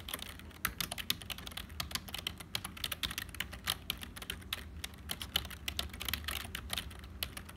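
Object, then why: Plastic computer keyboard. Continuous typing with the fingertips of both hands on a hollow, black, full-size HP plastic keyboard. A rapid, uneven stream of bright, clicky keystrokes with no ring, peaking around 3 kHz, sits over a faint, steady low hum.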